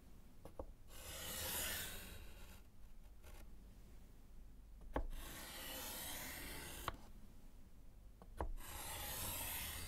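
A gloved hand scratches strike-through lines with orange chalk on a small, solid slate chalkboard set in a wooden frame. Broad, bright, raspy strokes come in separate bursts, with short sharp clicks as the chalk meets the board, all over a low, steady background hum.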